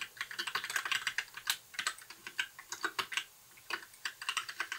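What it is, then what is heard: Plastic mechanical keyboard. Fingertips of both hands type continuously on a compact white mechanical keyboard with backlit plastic keycaps. The result is a rapid run of short, crisp, bright plastic clacks with almost no low end. There is a brief pause just past the three-second mark before the typing resumes.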